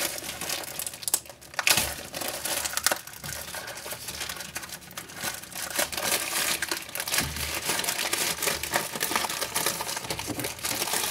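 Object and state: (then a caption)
Thin plastic magazine sleeve. Fingertips pull, crinkle and peel a thin clear plastic sleeve wrapped around a magazine. The result is a steady run of bright, dry crackles and crinkles with a few louder snaps, and almost no low end.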